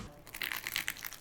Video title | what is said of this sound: My quest is over: I reached MAXIMUM steak crispiness! | it sounds like plastic too like the it's crackling listen to it